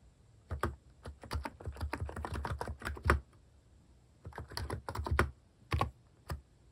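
Fingertips type on a mechanical keyboard with plastic keycaps, producing a run of quick, dull clacks with a low thump. The typing comes in two bursts separated by a short pause, followed by a few last single keystrokes.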